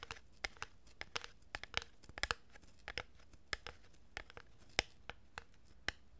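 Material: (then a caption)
Cardboard. Long fingernails rub and scratch across the surface of a hollow cardboard tube held horizontally in both hands. The result is a quiet, irregular run of sharp, dry, bright scratches and clicks, each ending almost instantly over a soft papery rustle.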